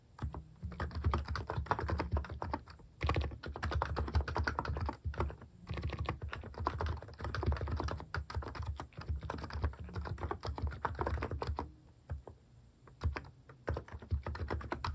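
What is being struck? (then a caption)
Plastic keycap capacitive keyboard. Dense fingertip typing on a plastic-keycap capacitive (Hanmumu) keyboard fitted with cat keycaps, producing rapid soft, low thocky taps with very little high-end click. The typing runs in steady bursts with brief pauses near the 3, 5 and 12 second marks, each tap dying away almost instantly.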